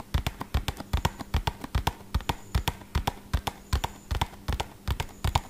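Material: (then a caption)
Cardboard. A small, hollow, red-and-purple printed cardboard medicine box is held in one hand and tapped quickly with the fingertips of the other. About thirty short, dull, hollow thumps sound in a fast, slightly uneven rhythm. Each one is weighted toward the low end with a faint bright click and dies away almost instantly.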